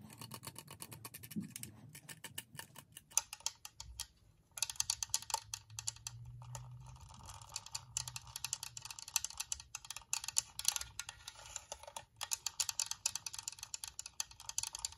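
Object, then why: Plastic UV nail lamp. Long nails and fingertips tap on the domed top and front of a small, hollow, white glossy plastic UV/LED nail lamp. The result is a rapid, dense patter of crisp, bright clicks that die away almost instantly, with a faint low hum underneath. A brief quieter gap comes before the tapping picks up again.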